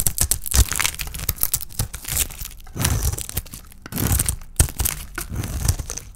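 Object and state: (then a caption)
Dry bar soap being shaved. A palm-sized solid oval bar of dry white soap with a red painted shell is held in the hand and shaved with a small metal blade. Rapid dry crackling and crisp scraping cuts run throughout, with brief louder cracks and bright crinkling flecks over a low thud.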